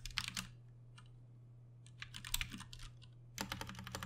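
Fingertips of both hands type on a Ducky One 2 Mini, a compact 60% RGB-backlit mechanical keyboard with plastic keycaps and Cherry MX Brown switches, resting on a desk. Bursts of quick, bright, short clacks come in three clusters separated by brief pauses, over a steady low hum.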